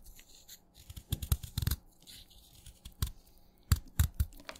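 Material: Chalk.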